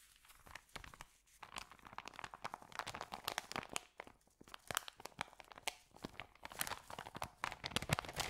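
An empty white paper sandwich bag is rubbed by hands, then folded and lifted over. It gives dense, bright crinkling and crunching with many sharp, overlapping crackles throughout.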